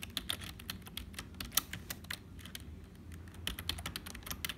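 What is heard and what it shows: Fingertips of both hands type continuously on a hollow, black, full-size HP plastic computer keyboard. Quick, bright, dry key clicks come in a steady uneven stream with a few sharper taps standing out. A low, faint rumble sits underneath.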